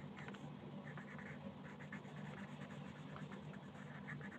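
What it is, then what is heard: Paper coloring page being colored. A wooden colored pencil held in the fingers scratches and rubs over a thin printed paper coloring page lying flat on a table. The result is a quiet, steady, papery scratching with short repeated strokes over a low, dull background hum.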